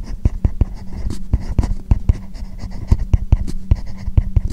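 A hand writes Chinese characters with a hard plastic stylus tip on a tablet screen covered with a matte plastic paper-like screen protector film. Dense, short scratching strokes come with quick, dull low taps and a faint steady low hum underneath.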